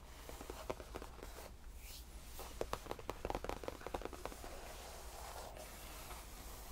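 Both hands lightly scratch a cream faux leather tufted padded bench with short nails and tap it with the fingertips. Soft, dry scratching alternates with a run of quick, muted taps that bunch together in the middle, over a quiet, steady low hum.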